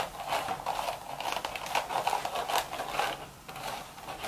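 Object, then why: Woven straw hat. Long, pointed red acrylic nails scratch in circles over the woven crown of a cream straw sun hat. The hat sits upside down with its wide brim out, hollow and empty. The result is a steady, dry, crackly scratching with a papery rustle and bright hiss on top, swelling and easing in quick strokes.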